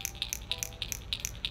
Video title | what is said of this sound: What's New This Week! Megabass, OSP, Duo Realis And A 20% Sale! | that knock just vibrates and it's like super loud and Hollow